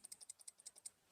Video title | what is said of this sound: FULL REVIEW - EMP EDC PULSE OTF!!! #love #edc | the blade is closed, there is a bit of a rattle side to side